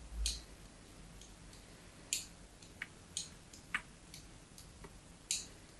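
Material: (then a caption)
Soap. A small metal blade scores diagonal lines into the smooth face of a solid white bar of soap held upright in a hand with long yellow nails. Sharp, bright scratching clicks sound at irregular intervals over a quiet hiss, each one fading quickly.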